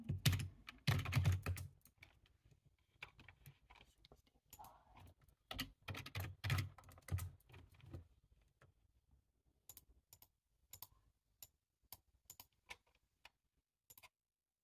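Fingertips type on a black, low-profile plastic computer keyboard with a hollow body resting on a table. Quick, uneven runs of key taps fill the first eight seconds with dull, low thuds topped by crisp, bright clicks. The typing then thins to single, spaced taps with brief silences between them.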